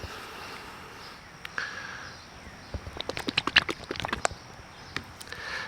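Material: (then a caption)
Plastic. A replacement plastic bottle of Z1 gel product is shaken, giving a quick run of sharp sloshing clicks and splashes over a faint background hiss. The contents slosh like a runny liquid rather than a gel, the same as the first bottle, because it came from a bad batch.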